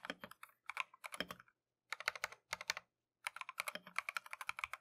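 A compact Keychron V1 mechanical keyboard with Tangerine switches and green and white plastic Matcha keycaps, resting on a desk mat, is typed with gloved fingertips. About 32 short, bright clacks centered near 2.2 kHz come in quick bursts separated by brief pauses, each dying away almost instantly with very little low end.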